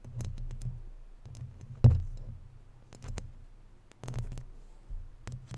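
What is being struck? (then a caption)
Woven metal mesh microphone grille. Long natural nails scratch and rub the hollow, round woven metal mesh grille of a microphone and its sides. The result is a low, boomy rumble broken by scattered sharp, bright clicks and scrapes, with one heavier thump just before the two-second mark.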